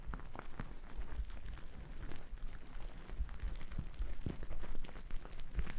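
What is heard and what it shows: A thick white cotton terry cloth towel draped over a microphone is brushed and scratched with two wooden-backed bristle brushes. The result is a steady, muffled, low-heavy rustling scrub with short, brighter scratchy strokes scattered throughout.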